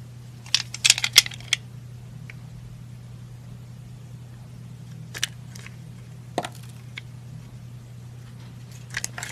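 A yellow utility knife scrapes and carves curls off a round, hand-sized solid pink soap with a glitter inlay, held in the hand. Short, bright, crisp scraping bursts come in a cluster early on, then a few sparse strokes follow over a steady low hum near 120 Hz.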